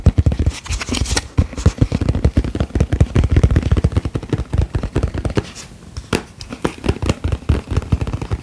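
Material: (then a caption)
Plastic. A medium round plastic tub of cotton candy with a purple plastic lid is held up and tapped quickly with fingertips and nails on the lid and sides. The result is a dense, irregular run of short, dry, hollow taps and light scratchy clicks. The sound is mostly low and thumpy, with a brief quieter lull before the tapping picks up again.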